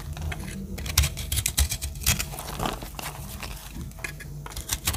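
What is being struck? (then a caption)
Bar of soap cut with a small metal blade. A round, solid, pink-red dry soap bar held in the palm of a hand with dark long nails is scraped and cut with a small metal blade. Crisp, dry scraping and crunchy cutting strokes come in irregular bursts with bright crackles over a low, muffled rumble. Soap flakes crumble off.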